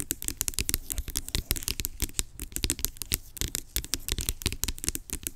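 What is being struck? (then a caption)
Plastic pump bottle. Long acrylic nails rapidly tap and scratch the surface of a large, hollow, blue-labelled plastic pump bottle lying on its side. The result is a dense stream of sharp, bright clicks and scratchy rasps over a low, hollow knock, with each tap dying away almost instantly.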